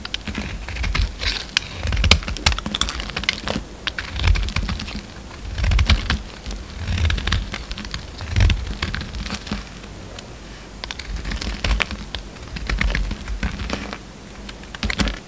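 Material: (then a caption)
Soap. A solid pink bar of soap, held in the hand, is carved with a utility knife, shaving off flakes and chunks. Dense, crisp clicking and scraping runs throughout, with low, soft thumps as the pieces break away.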